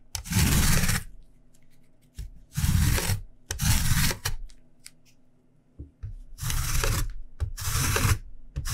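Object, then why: Lemon rind on a steel rasp grater. A whole fresh yellow lemon, solid and held in one hand, is rubbed back and forth across a long stainless steel rasp grater held in the other, with the zest falling onto a white cutting board. Several long, bright rasping scrapes of the rind on the metal teeth come in separate strokes, with brief quiet gaps between them.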